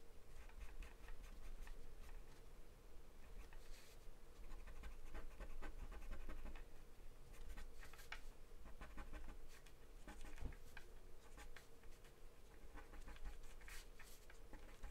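A pen-like drawing pencil makes small scratching strokes across a thin, flat sheet of white drawing paper taped down. The result is a steady run of soft, dry scribbling rasps with short bright flicks, over a low, constant rumble.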